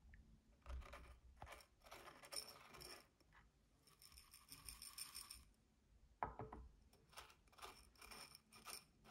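Fingertips and nails dig into, scratch and tap the dark soil and white granules inside a small clear glass votive cup holding a tealight, and tap its glass rim. Quiet, bright gritty rustling and scraping bursts alternate with short clicking taps, with one sharper, louder tap on the glass near the end.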